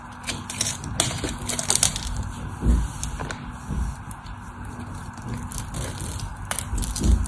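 A craft knife carves into the crosshatch-scored side of a solid white soap bar with a stamped logo, curling off flakes. Crisp, dry crackling and crunching scrapes come in quick bursts with a bright hiss, over dull low thumps and a steady low hum. It's an uneven run of short scraping cuts that each end quickly.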